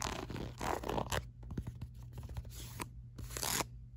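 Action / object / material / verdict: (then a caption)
scrape / ribbed silicone phone case / silicone / none. Long acrylic nails tap and scratch quickly across the back of a ribbed black silicone phone case held low. Rough, bright scraping bursts alternate with sharp clicks over a steady low hum.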